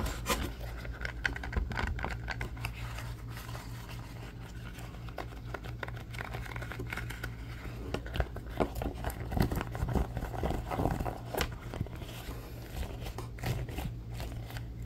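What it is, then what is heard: Silicone pot holder, scratched and rubbed. A thin, flexible red silicone pot holder is bent, rubbed and scratched with fingertips and nails. The result is a dense stream of soft crinkling, scratching and tapping over a steady low hum, with brief louder scrapes near the middle.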